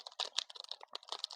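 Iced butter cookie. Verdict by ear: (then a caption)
Hard. A finished, gift-style iced Thai tea butter cookie is knocked repeatedly, giving a rapid series of short, dry, bright clicks with no ring, much like typing on a keyboard. The crisp, hard taps show the cookie is baked firm and slightly hard on purpose so it keeps longer.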